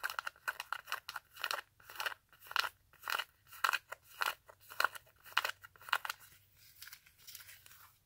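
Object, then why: Glitter and rhinestone fabric high-heel sandal. Long acrylic nails rapidly scratch and tap the glittery straps and heel of a silver rhinestone glitter-fabric stiletto sandal. The result is a fast, uneven run of dry, crunchy scratching bursts, bright and crackly with a mid-high tone around 1.4 kHz. There is no low-end body and almost no ring after each stroke.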